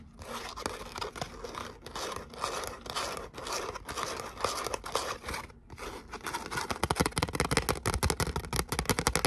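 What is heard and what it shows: Long nails scratch and tap the surface of a thin gold glitter cardstock letter "O" held up close. Broad, gritty scratching strokes give way after a short pause to faster, crisp tapping.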